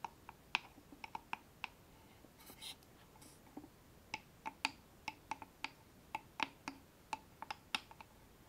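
A small, closed wooden box with a distressed brown finish and a metal latch on the front, hollow and empty, is held up in both hands and tapped and scratched on its sides and front with long painted fingernails. About 23 sharp, bright, clicky taps ring out with a hollow tone and die away almost at once, interrupted by a few brief, soft scratching passages. The background stays quiet throughout.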